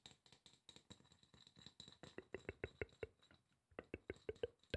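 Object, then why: Aluminum spray bottle. A hollow silver aluminum spray bottle is tapped with fingertips on its bottom and side. A fast series of short, dry taps has a hollow, mid-pitched knock with very little ring. The taps grow louder and more pronounced toward the end, after a brief quieter pause.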